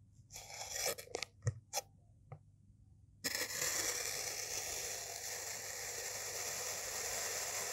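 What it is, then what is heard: Kinetic sand block being sliced. A white-bladed knife slices through a solid, striped yellow and pink layered kinetic sand bar, making a run of short, bright, gritty scrapes and crunches over the first three seconds. After a brief quiet pause, a steady, bright, hissing scrape starts and continues to the end.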